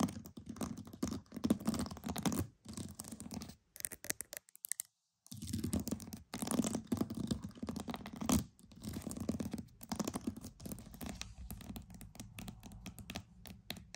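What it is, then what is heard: Pearls. Pearls are tapped and scratched in quick, dense runs of soft clicks and rasping scrapes, with energy centered in the low-mid range around 200 Hz. The activity pauses briefly near the five-second mark, then resumes and gradually thins out toward the end.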